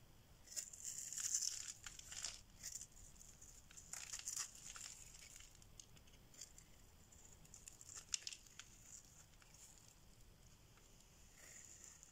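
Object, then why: Bar soap. A solid, dry oval orange bar of soap is held in the hand and scraped with a metal blade, shaving off crumbly flakes. Quiet, dry, crinkly scraping bursts with a bright, high hiss come thickest in the first few seconds, then thin out into softer, scattered scrapes.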